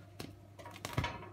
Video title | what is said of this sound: CommentFAireDuPainBYBibenbou | ça sonne comme ça creux et bien ça c'est que c'est cuit